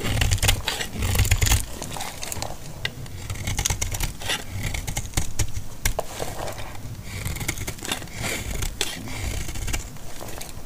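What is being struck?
Bar of laundry soap cut with a blade.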